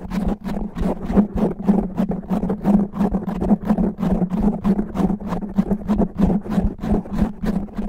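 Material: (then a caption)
Foam. Fingernails on both hands scratch fast and rough over a black foam microphone windscreen, making dense, rapid scraping bursts. The bursts repeat at roughly three per second over a steady low hum near 200 Hz, and each scrape flares into a bright, hissy top.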